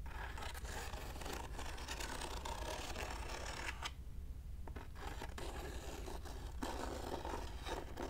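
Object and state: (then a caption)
Padded plastic mailer being scratched. Fingertips and nails scratch and rub the surface of a closed, medium white plastic padded poly mailer envelope lying on a marble table. The result is a continuous dry, crinkly scraping with bright, hissy texture and a brief quieter pause around the middle, over a steady low hum.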